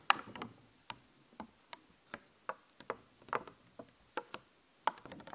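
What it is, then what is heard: Thin plastic sticker sheet tapped with fingernails. Long fingernails tap rapidly on a thin, clear plastic skeleton-cat sticker sheet held in the other hand, producing 13 short, dry, bright clicks. The clicks are irregularly spaced, fade almost instantly, and have a light, crisp plastic tick with almost no low end.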